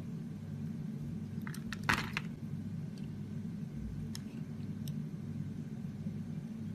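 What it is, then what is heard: Bar of soap being shaved with a blade. A metal utility blade shaves curls off the surface of a solid oval pink ROXY soap bar with a ribbed, embossed edge, held in the palm. Soft, bright crunchy scrapes and light ticks rise over a steady low hum, with the densest burst of cutting just before the two-second mark.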